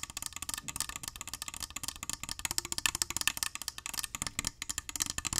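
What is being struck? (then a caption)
Small glass perfume bottle with liquid. Fingernails rapidly tap and scratch the glass sides of a small glass perfume bottle with gold trim and liquid inside. The result is a dense run of sharp, bright clicks and scratchy rasps, with very short ring and little low-end weight.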